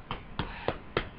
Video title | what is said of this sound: Sinjuan K. Cassadine "Silicone Gone Wrung" Part 9 | it's like knocking on wood